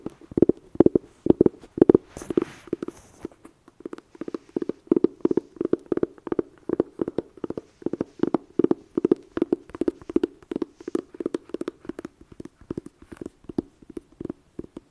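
Long painted nails and fingertips tap and scratch the printed lid of a red, flat, rigid, hollow cardboard eyeshadow palette case printed "Blood Sugar." Quick, dry taps come in a steady, rapid run, each with a short hollow knock around 336 Hz. A brief bright scratch rises near the start.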